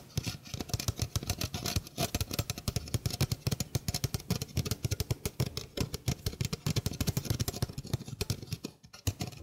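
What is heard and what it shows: A small, hollow stainless steel mesh sink strainer is held in the hand while fingernails scratch across its mesh. The result is a rapid, continuous run of short scratchy strokes with a bright, raspy edge over a strong low, hollow thump. Each stroke dies away almost instantly, with a brief quiet dip near the end.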